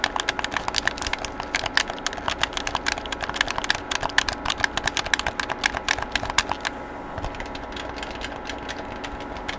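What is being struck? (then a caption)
Plastic handheld game controller. A hollow black plastic PlayStation game controller is held in both hands in front of the microphone while fingertips rapidly press and click its buttons and sticks. A dense stream of short, dry, bright plastic clicks with no ring plays over a faint steady hum, and the clicking grows sparser and softer for the last few seconds.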